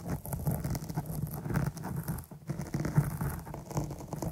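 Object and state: Foam microphone windscreen.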